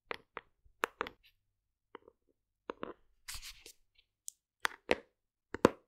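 A large white plastic OstroVit cocoa fiber supplement tub, held in one hand, is tapped and scratched with long acrylic nails. Irregular, quiet, dry tapping clicks with a hollow midrange tone are broken up by a short, bright, hissy scratching stretch in the middle. The clip closes with a few sharper taps.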